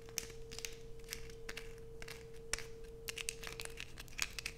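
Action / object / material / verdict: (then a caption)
scrape / bar of soap / soap / none. Long nails scrape aggressively at a solid light-blue bar of soap held in both hands, leaving shavings piled below. The result is a dense run of dry, crinkly scratching with bright, sharp bursts, over a faint steady hum.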